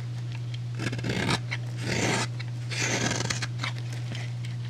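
A utility knife blade shaves and scrapes across the surface of a solid rectangular white bar of soap held in the fingers. The result is a series of crisp, dry, bright scraping strokes with small clicks between them, over a steady low hum.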